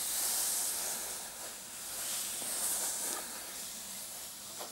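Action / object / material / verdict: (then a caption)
scrape / fabric coin purse with metal clasp frame / fabric / none. Fingertips and short nails scratch the surface of a hollow, soft, dark floral fabric clutch purse with a metal clasp frame, and the purse is lifted at the end. A steady, bright, hissy scratching fills the clip, swelling and easing in waves, with a faint rustle as it is lifted.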